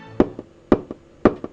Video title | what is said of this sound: Examen Semiologico de la percusión | golpeando los barriles de cervezas acá está vacío